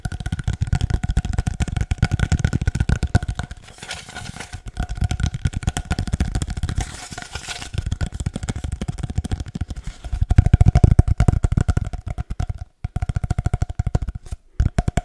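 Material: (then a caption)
Cardboard. Fingertips rapidly tap and rub a long, hollow, empty brown cardboard paper towel tube, producing a dense stream of short, dry, low thumps with soft rustling between them. The tapping swells and fades in intensity and breaks off briefly near the end, while faint steady tones hum underneath.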